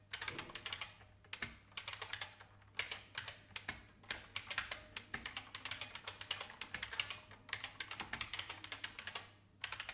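Fingertips with long painted nails type on an old, full-size beige IBM plastic mechanical keyboard with a hollow case. Bursts of fast, bright, clacky key taps come in runs separated by short pauses, each click dying away almost instantly.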